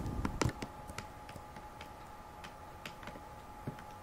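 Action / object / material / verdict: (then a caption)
tap / cardboard gift box / cardboard / none. A hollow, rectangular pink cardboard gift box is held up and tapped with long nails. A burst of quick, dry, clicky taps comes first, followed by sparser light taps, each dying away almost at once over a faint steady hum.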